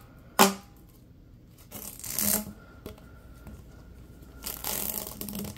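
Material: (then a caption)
Plastic. Latex-gloved hands bend and stretch a long, yellow, hollow, ribbed plastic tube. A sharp, bright snap comes first, followed by two longer bursts of crinkly, rasping clicks as the ribs compress and pull apart.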